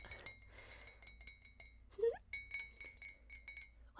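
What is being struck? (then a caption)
Ceramic mug. A hollow white ceramic coffee mug with a cat print is held in one hand and tapped with the long acrylic nails of the other, and a ring on the finger may add some clinking. Quick, light, bright clicks and clinks follow one another with very short, dry rings, alongside a faint sustained high tone and a brief mid-pitched swell near the middle.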